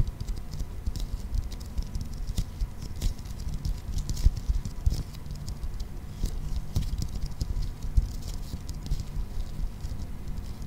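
Fingertips and nails patter quickly and continuously across a clear plastic toy ball, a hollow transparent plastic sphere with a green toy inside. The dense, soft tapping sits mostly in a low, thumpy range, with brief bright clicks from the nails. Each tap stops almost at once, with no ringing.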